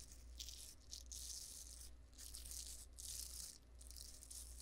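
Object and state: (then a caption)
Velcro hair roller. Long blue acrylic nails tap and scratch the bristly velcro-type surface of a hollow, hand-sized pink cylindrical plastic hair roller with a white plastic clip on top, held in the left hand beside the mic. The sound is a series of bright, scratchy, rattle-like bursts that swell and fade over a steady low hum.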